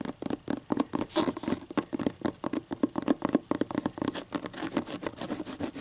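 Long green acrylic nails scratch along the stacked paper page edges of a closed hardcover book held upright. The result is a rapid, uneven run of short, dry, papery scratches that stop almost instantly, with a faint low-mid body under the rasp.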